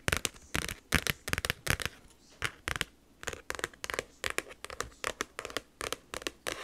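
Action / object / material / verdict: tap / plastic expanding file folder / plastic / none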